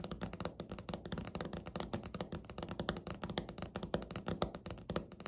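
Natural medium-length fingernails of both hands tap and scratch across a large, flat beige speckled laminate table or countertop with a solid-surface look. The result is a rapid, steady stream of short, dull taps with a low, woody body that die away almost instantly, mixed with faint bright scratching between strikes.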